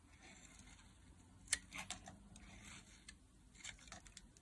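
A solid, dry blue-teal bar of soap, held in the hand, is carved with a metal blade into curled flakes. Quiet, crisp, bright scraping and cutting sounds are heard, with a sharper snap partway through and softer scrapes after it.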